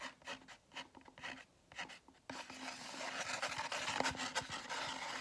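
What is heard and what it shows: A large foam drink cup with a lid and straw is rubbed and scratched on its side with fingers and nails. Short, separate squeaky rasps come first, then after about two seconds the scratching turns louder and continuous, a dense, bright, dry rasp with a faint squeaky tone.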